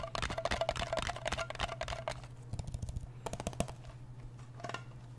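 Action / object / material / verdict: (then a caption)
tap / small round metal cream tin / metal / none. A fingernail taps quickly and unevenly on the lid of a small, round, blue metal Nivea cream tin, then on its side wall. Each tap is short and bright, with a faint metallic ring around 660 Hz, over a steady low hum.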